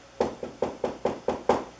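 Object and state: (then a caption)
Fully cured, hard papier-mache lamp base. Seven knocks on a papier-mache lamp base wrapped in paper towel and wood glue, after about 2.5 days of drying. Each knock gives a short, dry, hollow thud centered around 500 Hz that dies away quickly. The fully cured base sounds rock hard and solid.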